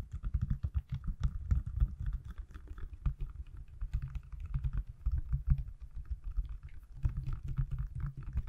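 Fingertips and nails tap rapidly on the back of a hand-sized, solid pale green silicone/plastic case fitted on an iPhone, held above and beside the mic. The steady stream of short, dull thuds is heavy in the low end, with faint brighter clicks from the nails, and each tap dies away almost at once.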